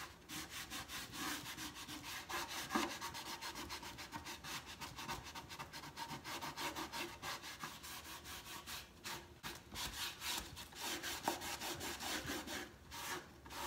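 A hand steadies the top of a large, hollow wooden crate box stand while the other hand rubs and sands its painted side slats with sandpaper or a cloth. The back-and-forth strokes make a steady, bright, raspy scratching with little low end. Each stroke swells and fades in quick succession.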